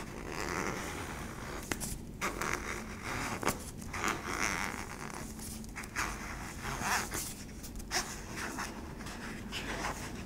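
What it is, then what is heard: Plastic tub base scratched with nails. Long nails scratch the flat yellow plastic base and rim of a hollow cylindrical sweetener tub. The result is a steady, raspy, bright scratching texture broken by sharp little clicks and ticks as the nails catch and drag across the plastic.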